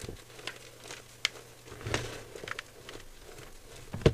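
Fingertips squeeze and crumble a dry mound of white gym chalk powder (magnesium carbonate) in a clear bowl. Soft, crinkly crunches and scattered sharp crackles rise over a quiet low hum. The loudest, fullest crunch comes at the end.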